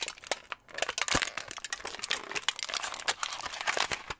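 A small crumpled piece of thin aluminum foil is held in both hands close to the microphone while fingertips squeeze, crinkle and pull at it. The result is a dense, continuous run of sharp, bright crackles and crinkles with almost no low end, each snap dying away almost instantly.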